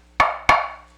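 Two taps on a metal pan from a set, struck to compare metals, give dull, flat knocks like knocking on wood. Each tap has a short, woody tone around 1.1 kHz that dies away quickly with little ring, unlike a cast iron pan.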